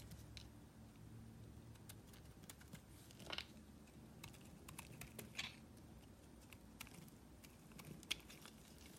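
A small metal blade shaves a solid white, palm-sized bar of soap held in the palm, producing quiet, crisp scraping and short bright ticks over a low steady hum. A few sharper, louder scrapes stand out near the middle and end.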